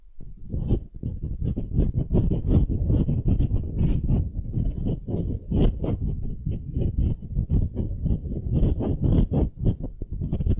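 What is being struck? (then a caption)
Small wooden cube. Long nails scratch and tap the end-grain face of a palm-sized solid pale wooden cube held in one hand. The result is a steady, close stream of dry, low-heavy scratches and quick taps with bright, crisp edges. Each one dies away almost instantly with no ring.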